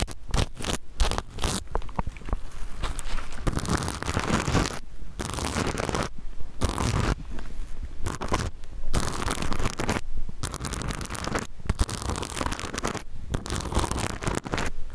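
Fingernails scratch and brush the plastic sequins of a small rainbow reversible-sequin pouch held against the mic. Dense bursts of crackly, rustling scratching stop and start with brief silent gaps, over a heavy low rumble from the contact.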